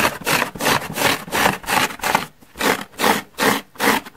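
Long nails scratch a large yellow porous foam car sponge resting on a wooden table, first across its surface and then along its side edge. The result is a series of dry, bright, rasping strokes in a steady back-and-forth rhythm, with short gaps between them in the second half.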